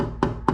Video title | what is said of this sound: C4 Corvette Trivia Most People Never Notice | So you look at this headlight, you see it's a Wagner halogen, but if you tap it, it's plastic. This is not a metal headlight.